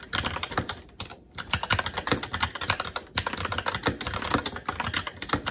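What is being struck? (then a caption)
Mechanical keyboard, plastic keycaps on metal plate. A SteelSeries Apex 7 TKL mechanical keyboard with red linear switches, black plastic keycaps and an aluminum plate is typed on continuously with the fingertips of both hands. Rapid, crisp key taps with short low thocks and bright clicky tops run in quick bursts, with brief pauses near one and three seconds.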